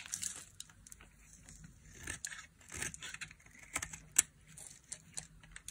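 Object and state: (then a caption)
Dry soap bar being scraped. A solid, dry orange bar of soap held in the hand is scraped with a small metal blade, shaving off crumbly dry curls. Bright, crisp scraping and crackling come in short bursts with quiet gaps, and one sharp click stands out near the end.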